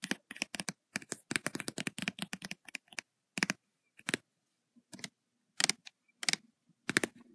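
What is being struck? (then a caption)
Paper notebook with metal spiral, tapped with long nails. Long white and red acrylic nails tap fast on the paper page of an open lined notebook with metal spiral binding, the fingers sometimes near the spiral. About 32 crisp, bright, dry clicks come in quick dense runs for the first three seconds, then in sparser clusters separated by short silences.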